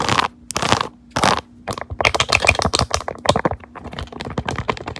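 Long neon acrylic nails tap and scratch the raised keyboard-key squares of a pink soft silicone phone case on a smartphone held in a clamp, with a small pink charm hanging at the bottom. Three short bursts of broad, hissy scratching lead into fast, uneven runs of bright clicky taps that sound like typing. A faint steady low hum sits underneath throughout.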